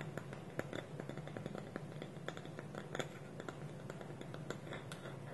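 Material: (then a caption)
Wood. Fingertips and nails tap and scratch the side of a small round, hollow, polished dark wooden bowl, its wooden lid held tilted on top. Quiet, dry, rapid clicks and scratches over a steady low hum, with only the briefest ring after each tap.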